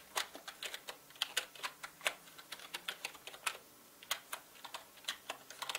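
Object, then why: Plastic mechanical keyboard. Fingertips type fast on a full-size black mechanical gaming keyboard with plastic keycaps and a hollow body. The result is a rapid, uneven run of sharp, bright clacks with no low thump and almost no ring after each keystroke.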